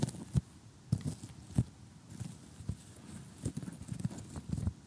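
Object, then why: Cardboard jigsaw puzzle. Short glittery nails tap across the surface of an assembled cardboard jigsaw puzzle lying flat, giving a series of dull, low, hollow knocks with quick decay, some paired into soft double taps. A faint crunchy rustle sits between the taps.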